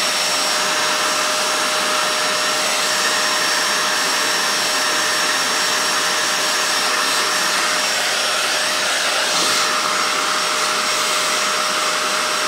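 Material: Nothing is struck.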